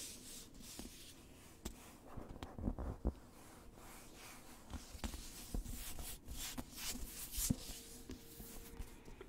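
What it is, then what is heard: Cloth-covered hardcover book. Fingertips and nails tap and rub the cover and spine of a black, solid, cloth-covered hardcover novel, Star Wars The Rising Storm, held in the hands. About eight soft, dry taps with almost no ring stand out over a quiet, steady scratchy rubbing. The sound is low-heavy, with a faint bright hiss.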